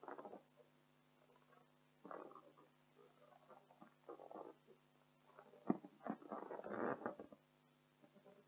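Long decorated acrylic nails of both hands scratch and tap across an inflated pink printed latex balloon, hollow and air-filled. Quiet, irregular bursts of rubbing squeaks and soft dull taps come and go, with a sharper tap near the end. A faint steady low hum runs underneath.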